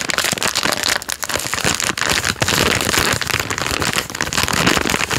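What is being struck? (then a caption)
Plastic film biscuit packet. A full packet of Jammie Dodgers biscuits in a plastic film wrapper is crinkled and rubbed with fingertips, working both the loose wrapper end and the body. The result is a steady stream of bright, dense crackling and rustling with many small sharp snaps that barely let up.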